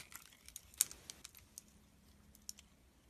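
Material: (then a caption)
Soap. A metal blade scrapes the surface of a solid light green bar of soap, the same bar throughout. The result is eight quiet, short, crisp scratching clicks that are bright and high, with almost no low end. One stroke near the start is noticeably louder than the rest.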